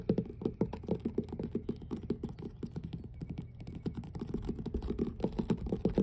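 Long blue nails on both hands tap and scratch the surface of large, solid, weathered wooden deck planks on an outdoor dock by the water. Rapid, dense clicks and knocks with a low, woody body around 200 Hz repeat throughout, each dying away almost instantly. Faint bright scratchy ticks sit over the taps.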